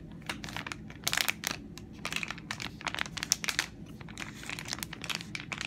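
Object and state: Soft plastic wipes packet.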